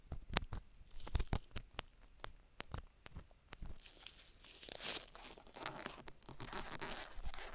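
A gloved hand uses a thin wooden stick to scratch and poke the inner ear and canal of a black, solid soft silicone rubber ear on a binaural microphone, with the stick staying on the ear throughout. Close, dry clicks and taps come first, then give way to denser, bright scratching and rustling with a hissy crackle.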